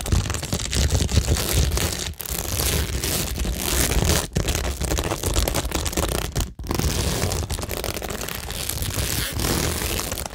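Long nails scratch along rows of plastic stick-on rhinestones on a cork tingle board. The result is a steady, dense, crackly scraping with a bright edge and a heavy low rumble underneath, broken only by a few brief pauses.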